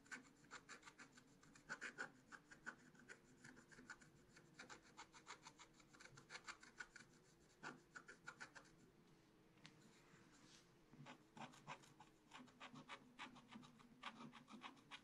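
A wooden stylus scratches leaf and fur details into the coating of a black scratch-art card in a spiral book. Quick, dry, rasping strokes come in rapid, uneven bursts with a bright papery edge. A softer, steadier rasp fills a short lull midway before the sharp scratching picks up again.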